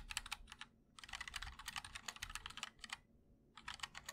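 Fingertips of both hands type on a MOD-L 60% mechanical keyboard with linear switches, white and black ABS keycaps, and a black aluminum case. Bursts of crisp, bright clacks come in quick runs with short pauses between them.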